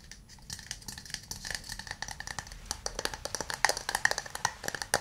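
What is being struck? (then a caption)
Hand-held wooden cup. A hand-sized, hollow, empty burl-wood cup is held in both hands and tapped with fingernails and fingertips on its outside and base. The result is a fast stream of short, dry, clicky taps with quick decay. The taps have a hollow mid tone around 1.9 kHz and bright upper clicks, and they grow slightly louder and sharper toward the end.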